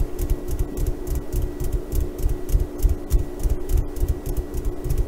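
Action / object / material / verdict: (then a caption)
scrape / burlap sack tied to a bean-filled stuffed toy / burlap / none. Long painted nails and fingertips scratch and rub a small burlap "KONA" sack tied onto a soft, filled bean bag stuffed donkey toy. The result is a quick, uneven run of dull, low rubbing thumps, about three per second, with faint bright scratchy streaks over a steady low hum.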